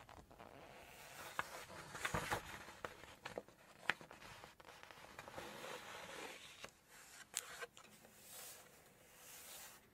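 Long nails rub and scratch the glossy paper pages of an open Chinese cookbook at its seafood section, then a page is turned. The quiet, dry, bright scraping rustle is broken by sharp little ticks and crinkles, with a louder flutter as the page flips.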